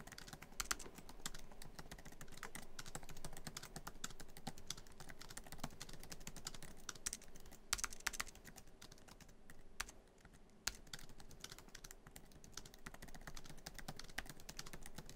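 Fingertips of both hands type quickly on a MacBook Pro keyboard, tapping many black plastic keys set in the hollow silver aluminum laptop body. A dense, continuous stream of short, crisp clicks and soft thuds carries a bright top, with a few louder key strikes standing out and a brief lull near the ten-second mark.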